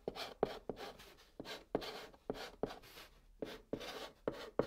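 A white chalk stick held in the fingers scratches steadily across a flat brown cardboard box surface as it forms letters. Sharp taps start short bursts of dry, bright, rasping scratches with a faint tone near 430 Hz, separated by brief pauses. Each stroke stops almost at once with little ring.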